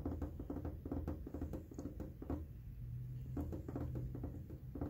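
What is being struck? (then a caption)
Hard plastic air conditioner casing. Short fingernails and fingertips tap and scratch along the flat, white hard-plastic top panel of a large, hollow window air conditioner. The result is a quick, irregular patter of soft, dull taps with a low, hollow resonance, punctuated by brief scratchy brushes and very little bright edge.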